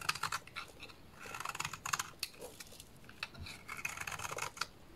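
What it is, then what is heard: Bar soap being shaved. A small blade shaves flakes and curls off a solid purple bar of soap held in the hands. It makes a quiet, dry, crisp scraping with quick bright strokes and tiny clicks that stop instantly, coming in uneven bursts with brief pauses between them.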